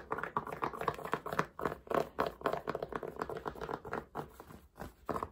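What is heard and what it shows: Fingertips and nails quickly tap and scratch the crown and brim of a dark grey fabric baseball cap worn on the head. A fast, uneven stream of soft, dry taps and scratchy rubs sits mainly in the midrange, with each touch dying away almost instantly and little low or high content.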